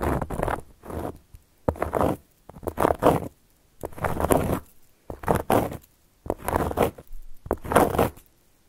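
Long gold metal claw nail caps scratch and trace across a round, flat, solid cork board. Short bursts of dry, rasping scratches come in uneven strokes, each building to a gritty, bright hiss before dropping to near silence between passes.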